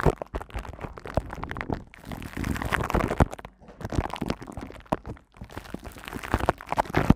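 Long nails scratch and tap across the silver woven metal mesh head of a hand-sized, hollow studio microphone. The result is a dense run of close, crackly scratches, heavy in the low end and dull rather than bright. They come in short bursts separated by brief quiet gaps.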